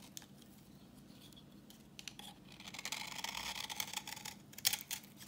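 A palm-sized, dry, vintage, solid rectangular translucent orange soap bar held in hand has its surface shaved with a utility knife blade, sending crumbs falling. Soft, bright scraping and crisp cutting sounds build in the middle of the clip, with a few sharp clicks near the end.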